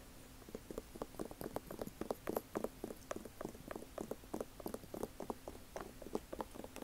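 Long acrylic nails tap and scratch the leather upper of an Air Jordan 1 high-top sneaker with a rubber sole, held up near the mic. About thirty quiet, quick, dry clicks and scuffs are heard, with a hollow midrange tone and almost no ring.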